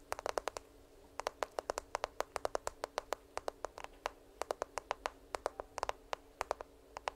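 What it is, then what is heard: Smartphone in a plastic case. A smartphone in a black case, held upright by the microphone, is tapped and scratched with long nails. Quick, sharp clicking taps come in rapid bursts with brief pauses between them, each click dry and short with no ring.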